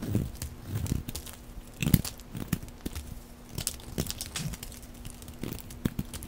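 A utility blade shaves curls off the edges of a dry, rectangular green solid soap bar held in the hand. Many short, dry scraping and crunching cuts follow one another quickly, mostly low in tone with bright crisp flecks. A faint steady hum runs underneath.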